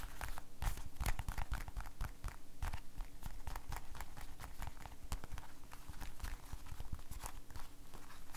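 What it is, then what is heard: Rubber glove. An empty blue rubber household glove, held by the cuff, is shaken, flapped and squeezed with the fingers. It gives a steady run of quick, dry rubbery slaps and soft thumps, heavy in the low end, with brief bright snaps throughout. Each flap dies away almost instantly.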